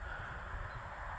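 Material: Nothing is struck.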